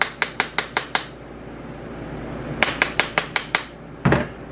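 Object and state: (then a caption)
Bath bomb loose in its mold. Twelve light spoon taps, in two quick runs of six, click sharply on the top of a plastic bath bomb mold with a bright, hollow ring, showing the mix has come loose inside. A lower, duller thump follows as the mold is turned over and the bath bomb is released.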